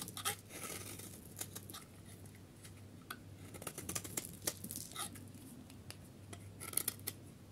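A solid yellow dry soap bar, held in hand, has its surface scraped into thin curls with a metal utility knife blade. The clip is a run of crisp, bright scraping strokes and short dry crackles that stop quickly, over a steady low hum.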